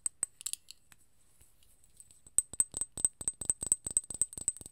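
A small glass serum bottle filled with gold liquid and topped with a gold cap is tapped with long nails close to the mic. A few light taps come first, then a pause, then a quick, steady run of sharp, bright clicks. Each tap has a high glassy tick that dies away almost at once.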